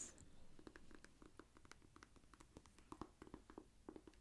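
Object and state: Paperback book.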